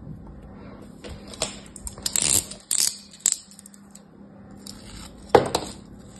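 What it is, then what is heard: Kinetic sand shape being sliced. A solid kinetic sand crab figure, molded and held in the palm, is sliced with a metal craft knife blade. Short, crisp, gritty cutting and scraping bursts with a bright, sandy hiss sound over a faint steady low hum, ending with one sharper crunching slice.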